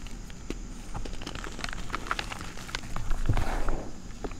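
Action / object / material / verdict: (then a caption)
scrape / reformed gym chalk block / chalk / none. Bare fingers with red nails squeeze, crumble and rub a solid, dry red reformed gym chalk block and its crushed pieces in a bowl into powder. Soft, irregular crunches and gritty crackles come through over a low, steady rumble, swelling into a denser crumbling rush toward the end.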